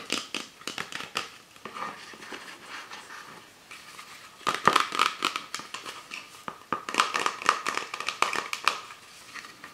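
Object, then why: Plastic PET drinks bottle. An empty, hollow Pepsi Sakura PET plastic bottle with a white cap, held in both hands, is tapped and scratched with long nails and fingertips. The result is rapid, irregular dry clicks and crinkly scratching, with denser bursts in the second half that carry a faint hollow ring around 1.2 kHz.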